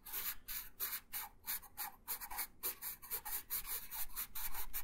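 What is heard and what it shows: A wooden colored pencil held in the right hand rubs colour onto a thin printed paper coloring sheet lying flat on a wooden table, in steady back-and-forth strokes. About twenty soft, dry, bright scratchy rasps follow one another in a quick, slightly uneven rhythm, each fading out briefly before the next.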